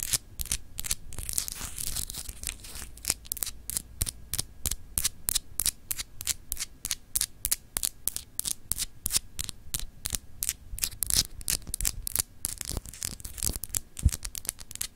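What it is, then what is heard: Solid glass globe paperweight scratched and tapped with nails. Long acrylic nails scratch and tap a palm-sized solid glass globe paperweight with frosted continents. The result is a steady, irregular stream of sharp clicks and bright, dry scratching rasps, about three per second, each dying away instantly over a low, quiet rumble.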